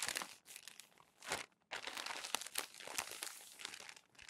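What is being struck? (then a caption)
Glossy paper magazine pages. Fingertips lift, turn and press down the crinkly pages of a thick stack of glossy paper magazine pages, previously crumpled then smoothed, lying on a white desk. Dense, bright crinkling and crackling fills the clip, swelling into a louder rustle before a brief near-silent pause. Sharp paper snaps then punctuate the continued crinkle.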